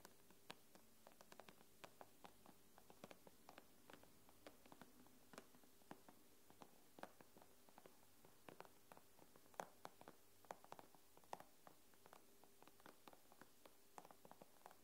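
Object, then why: Glass tablet screen. Long nails tap the glass screen of an iPad with both hands, making quick, dry, bright clicks in an irregular rhythm. The clicks stop almost instantly with no ring, over a quiet, steady low hum.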